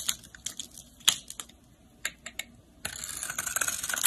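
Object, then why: Solid soap bar scraped with a utility blade. A snap-off utility blade shaves and scrapes crumbly flakes from a solid pink soap bar held in hand. Sharp, bright, dry ticks and crackles sound one after another, then after about 2.8 seconds they blend into a steady, dense, high scraping hiss.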